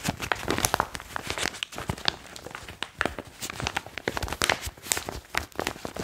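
Fingertips crinkle and squeeze a foil-lined plastic chalk bag, which is then raised above the head and shaken. The result is a dense run of sharp, bright crackles and rustles with no ring between them.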